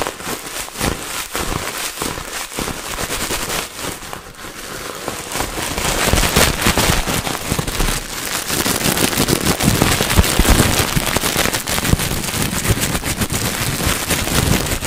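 A fist-sized ball of clear, hollow, air-filled plastic bubble wrap is held in both hands in front of a microphone while fingertips squeeze, crinkle and pop it. A dense, fast crackling of sharp, bright snaps and pops runs throughout, with low thumps underneath. It grows louder and busier about halfway through and stays that way to the end.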